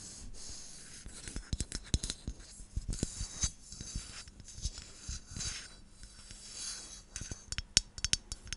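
Long nails tap and scratch a hand-sized, hollow White Dove aluminium aerosol deodorant spray can with a plastic cap. Sharp, dry clicks that die away almost at once mix with bright, hissy scratching strokes in uneven bursts over a low, steady background.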